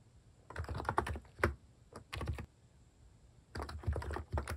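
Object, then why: Plastic keyboard keys. Fingers type continuously on a plastic mechanical keyboard fitted with cat-face keycaps, tapping out bursts of keystrokes. The clicks are short, deep-bodied thocks with a soft clatter on top, coming in three clusters separated by a brief pause.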